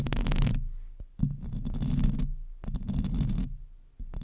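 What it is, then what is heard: Metal microphone grille being scratched. Long nails scratch and lightly tap the hollow metal mesh grille of a silver microphone. The result is deep, boomy, rumbling scratching in several bursts separated by short quiet gaps, with faint bright rasping edges on top.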